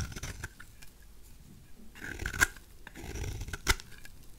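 A knife blade scrapes shavings off a white, solid, oval bar of dry soap held in the hand. Soft, dry scraping and crumbly rasping run throughout, broken by two sharp, bright snaps where pieces crack away.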